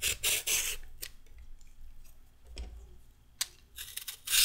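A whole, solid, raw orange carrot is held in the hand and scraped with a red-handled metal vegetable peeler, and the peel strips fall onto a wooden table. Bright, raspy scraping strokes come in quick bursts at the start and end, with quieter soft scrapes and a few short ticks in between.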